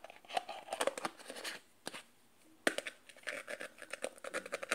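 Fingers and nails tap and scratch a small glass jar, partly covered by a peeling white label, and its black plastic screw lid. Quick, dry clicks and scrapes come in busy bursts with a faint glassy ring around the midrange, broken by a near-silent pause with a single tap. A sharp knock then starts a second flurry of taps and scratches.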